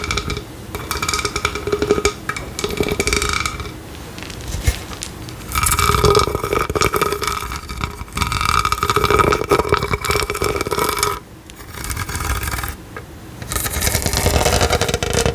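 Long nails scratch and tap the textured studs of a large, hollow, pastel teal-to-pink studded plastic tumbler with a lid and straw, held close to the mic. Dense, crackly scratching comes in sustained bursts, with a hollow hum around 400 Hz and brighter ringing above it. The bursts are broken by brief quieter pauses.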